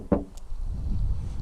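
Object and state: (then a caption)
Damped car body panel. A knock on a steel car rear quarter panel lined with bitumen roof flashing tape as sound deadening gives a short, dull, low thud that dies away almost at once, followed by a steady low rumble. The knock is still audible but damped compared with the untreated side.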